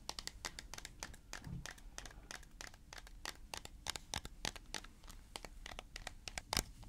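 A hollow white plastic tub with a large blue plastic screw lid, held in the hands, is tapped and scratched with fingertips and nails. The result is a rapid, irregular stream of sharp, dry, bright clicks with almost no ring, over soft scratchy rustling and a faint low rumble.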